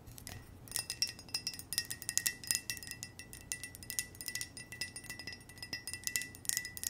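An empty, hollow white ceramic mug with red hearts and a red heart-shaped handle is tapped rapidly with long nails. The result is a quiet, steady run of sharp, bright clicks over a faint ringing tone near 2 kHz and higher, giving a light chime-like shimmer.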